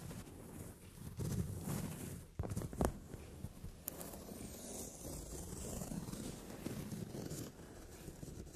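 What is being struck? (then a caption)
Padded leather sofa seat. Long nails tap and scratch across a brown leather padded sofa seat. A soft, steady low scratching and rustling runs throughout, with a few sharper taps standing out near the middle.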